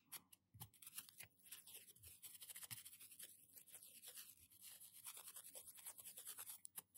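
A small blue-and-white plastic toothbrush with a solid handle and nylon bristles is held in one hand and scrubbed back and forth across the fingernails of the other hand. The result is a quiet, bright, scratchy rubbing with quick bristly strokes and faint sweeping whistle-like tones that rise and fall throughout.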